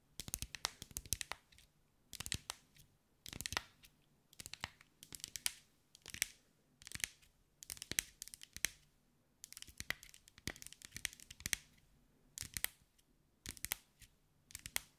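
Long white acrylic nails tap and scratch over a hand-sized sphere covered in small green mirrored glass mosaic tiles, held in the hands. Quick bursts of bright, dry clicking and raspy scratching come in clusters separated by short pauses, each tap cut off with no ring. The overall level is quiet and the sound sits mostly in the high range.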